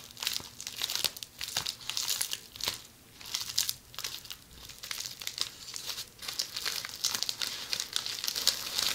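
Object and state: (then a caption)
Plastic bubble wrap. A roll of red plastic bubble wrap held in the hands is scratched by long polished fingernails. The result is a steady, bright crinkling and scratching with many sharp, quick clicks, almost no low end, and brief quieter pauses between bursts.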